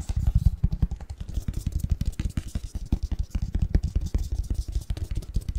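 Fingertips and nails scratch and tap the surface and edges of a flat printed cardboard Christmas box lid with a winter snowman pattern, hollow and empty and held in both hands. A rapid, steady stream of short, dull, low thumps and soft scratches follows, each dying away at once.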